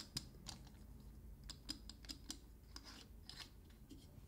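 Fingertips and nails tap, scratch and twist the metal screw cap on a dark glass linseed oil bottle. Quiet, sharp clicks and ticks come at irregular intervals, some with a faint high metallic ping, between soft scraping. Each sound dies away almost instantly over a low background hum.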